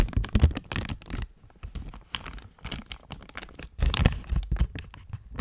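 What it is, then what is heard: Plastic bag crinkling. A medium clear plastic zip bag with a coiled dark item inside is held in both hands near the mic and squeezed and crinkled with fingertips. Dense, irregular crinkling and crackling bursts come with heavy low, muffled thumps from the handling, pausing briefly before a louder burst of crinkles near the end.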